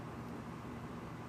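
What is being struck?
Nothing is struck.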